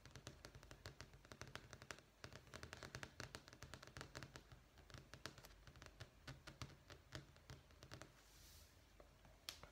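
Long fingernails rapidly tap a thin, solid beige marble-effect vinyl flooring sample page in a sample book, producing dense runs of sharp, dry, bright clicks that die away almost instantly. The tapping thins out near the end, where a brief soft high hiss rises over a steady low hum that runs underneath throughout.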